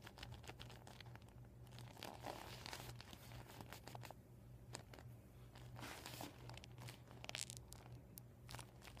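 Fingers rub and nails scratch across the surface of an empty, flattened, deflated PVC vinyl beach ball. The result is a continuous run of dry crinkling and tearing-like scrapes, with sharp bright clicks scattered throughout over a steady low hum.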